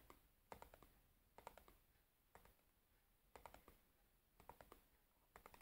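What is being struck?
Cardboard matchbox.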